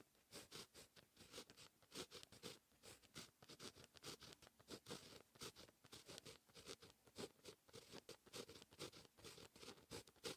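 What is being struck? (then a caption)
Pen tip on notebook paper. A fine-tip pen writes Korean handwriting on a lined white paper notebook page. Its tip scratches continuously across the paper in quick, bright, papery strokes with brief pauses between them.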